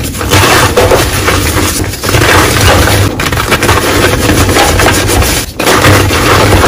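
Solid teal pieces of reformed gym chalk in a bowl are crushed by bare hands and fingers into powder and lumps. Dense crumbling and crunching continues throughout, with rubbing and squeezing through the crumbled chalk, with brief dips near two and five and a half seconds.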